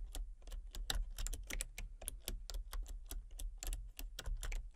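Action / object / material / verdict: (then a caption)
tap / plastic computer keyboard / plastic / none. Fingertips with long painted nails type rapidly on a full-size backlit plastic RGB computer keyboard with hollow key switches and colour-cycling lights. The keys give short, sharp, bright clicks and clacks in a quick, uneven rhythm over a steady low hum.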